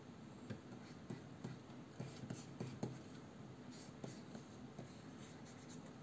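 A plastic stylus nib is drawn by hand across the solid matte glass surface of a large Wacom Cintiq 22 pen display, making long, quiet scratching strokes. Soft ticks of the nib touching down punctuate the low, muted scraping throughout.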